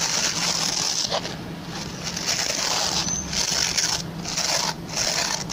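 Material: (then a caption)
Plastic. Fingertips and short nails scratch and rub the plastic pin bristles of a hand-sized, oval, white plastic brush. The result is a steady, bright, hissing scratch concentrated in the high range, with only brief dips in loudness and little low-end content.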